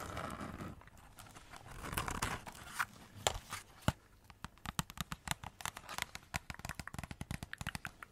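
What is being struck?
Cardboard cracker wrapped in glitter paper and foil.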